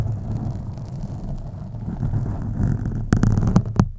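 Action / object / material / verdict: scrape / foam microphone windscreen / foam / none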